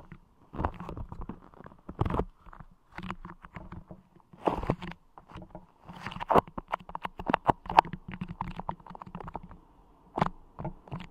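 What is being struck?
Clear putty clay pressed over a microphone grille.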